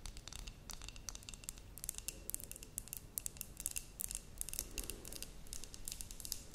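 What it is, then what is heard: Glass terrarium jar with cork lid. A glass terrarium jar with a cork lid, holding soil and moss, is tapped and scratched with long nails. It gives a quick, steady run of sharp, bright clicks and ticks that stop dead, over a soft low rumble, with scratchy swells in between.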